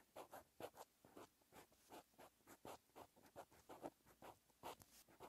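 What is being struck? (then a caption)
Pen tip on lined paper. A green pen's metal tip writes Korean text across a lined white paper notebook page. Quiet, irregular bursts of scratchy strokes repeat in quick succession, each a short dry rasp with a bright high edge.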